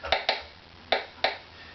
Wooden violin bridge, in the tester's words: treble side is a little bit higher